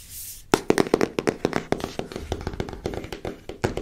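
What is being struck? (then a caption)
Small cardboard card deck box. A small rectangular printed cardboard box for an oracle card deck, likely holding cards, is held in the hand while long nails tap it and fingertips rub it. After a brief soft hiss, a rapid, uneven run of short, crisp taps begins, each with a hollow papery knock around 380 Hz and almost no ring. Quieter rubbing fills the gaps between the taps.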